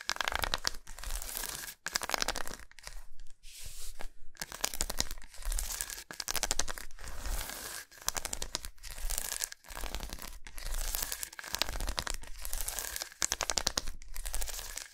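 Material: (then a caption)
Chocolate. Long nails scratch and tap a long, solid milk chocolate bar with raised squares, laid lengthwise on a towel. Dense, rapid bursts of bright, crinkly scratching and clicking come in short runs separated by brief pauses, with a soft low thud underneath.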